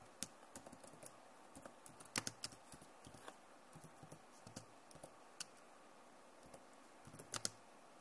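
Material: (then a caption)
Plastic. Long nails type and tap on the keys of a backlit plastic laptop keyboard, making sharp, bright clicks in uneven bursts with brief pauses between them. Each click dies away almost at once over a faint, steady hiss.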